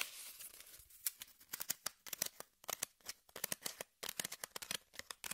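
Long nails scratch and pick at the top surface and edge of a brown corrugated cardboard piece held flat. A soft, continuous bright scratching in the first second gives way to a rapid run of short, dry, high-pitched picks and scrapes with almost no low end. Each pick stops instantly with no ring.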